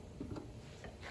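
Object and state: Nothing is struck.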